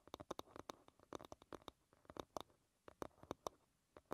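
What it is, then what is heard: Wooden hairbrush back. Long red nails tap and scratch the flat wooden back of an oval hairbrush lying bristles-down. About 22 quick, dry clicks come in uneven bursts with soft scraping between them, each dying away almost instantly. The sound is quiet and centred around 600 Hz, with faint bright ticks on top.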